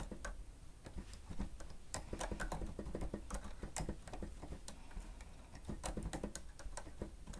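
Fingertips type steadily with both hands on the keys of a grey plastic stenotype machine. Quick, short, dry clicks and taps come in irregular bursts, with bright snaps on top of a steady low hum.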